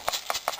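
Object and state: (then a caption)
Airsoft magazine with BBs rattling inside. A bent magazine from a Crossman R76 AK-74U airsoft rifle, holding around 300 to 500 BBs and made of metal or plastic but solid to the touch, is shaken so the BBs rattle inside. Three quick, bright clattering bursts come in a steady rhythm, each with a short trailing rattle and almost no low end.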